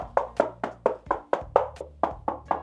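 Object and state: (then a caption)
Foam-damped, non-hollow plastic keyboard case. Eleven quick taps on the underside of a Marvo Pro Monka Storm mechanical keyboard, whose case is thin, flexy plastic with foam padding inside. Each tap is a short, dull knock centered in the midrange that dies away almost immediately. The case does not sound hollow, and the foam padding can be heard damping it, which is a good result.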